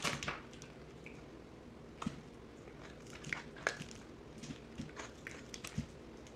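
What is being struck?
Bar of soap cut with a blade.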